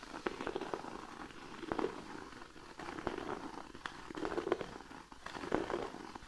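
Fingernails of both hands scratch and tap across a large, flat, thin cork sheet resting on a blanket. A soft, continuous scratchy rustle is broken by irregular dry, short taps with a muffled mid-range body and little ring.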